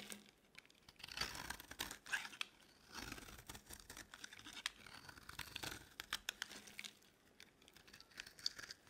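A metal blade scrapes thin strands from the edge of a solid, dry yellow bar of soap held in the palm. Quiet, dry, bright scraping comes in short bursts with crisp crackles and tiny clicks, mostly high hiss with almost no low end.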